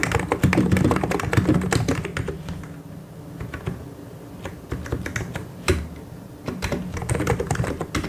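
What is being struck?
Plastic mechanical keyboard.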